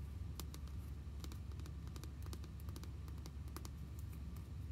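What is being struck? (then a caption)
Small hollow plastic toy figure. A white, hollow vinyl or plastic My Little Pony figure with pink hair, hand-sized, is held and turned in the hands while being tapped and scratched with long nails. Quiet, sharp clicks and light scratching rise over a steady low hum.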